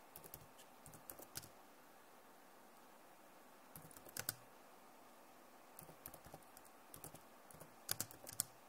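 Fast typing with long nails, using both hands, on a backlit plastic laptop keyboard. Short bursts of sharp, bright clicking taps are broken by quiet pauses, and each tap stops almost instantly.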